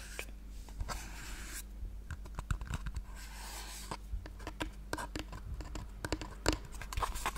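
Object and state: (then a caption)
Cardboard box tapped and scratched with nails. A small hollow pink cardboard gift box, held close to the mic, is tapped and scratched with long painted nails. Quick, dry taps and rustling scratch strokes come in an irregular run over a steady low hum, with each tap dying away almost at once.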